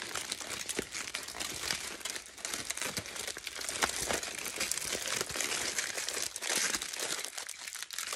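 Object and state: Aluminium foil sheet.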